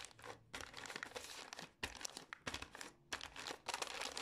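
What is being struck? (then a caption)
Small plastic gum pouch. A small green and white Pür gum plastic pouch is scratched with long nails and crinkled in the hands. Bright, crackly crinkling comes in dense bursts with short pauses between them, carrying little low end and dying away quickly after each scratch.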